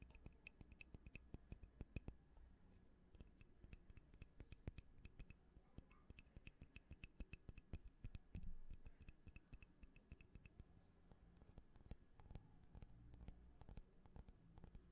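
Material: Glass, metal.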